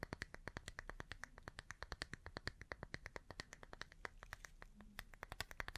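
Long painted nails tap and scratch the solid wooden back of an oval, hand-sized bath brush with natural bristles and a white strap, held in one hand. A quick, steady run of about fifty sharp, dry clicks follows, each bright with a hollow tone near 1.8 kHz and dying almost at once, over a faint scratchy hiss.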